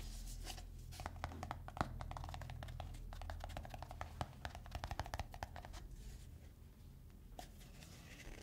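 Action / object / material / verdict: scrape / plastic screw lid of a cosmetic tub / plastic / none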